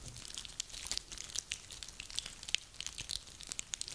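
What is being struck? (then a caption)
Pine cones. Dry, woody pine cones are held and squeezed in one hand, then scratched with long nails while they rest on a table. Their rough scales give off a steady run of quiet, bright, dry crackles and sharp little ticks, with almost no low end. Each snap dies away at once.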